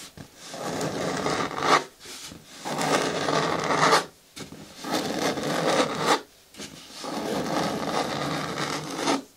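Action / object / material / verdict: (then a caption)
scrape / plastic bin with lid / plastic / none. Long natural nails and fingertips scratch and rub the front wall of a hollow, medium-hard green plastic bin with a lid resting on a wooden table. Several long, raspy strokes swell and fade with short pauses between them, giving a dry, brushy scraping sound centered in the mids with little low end.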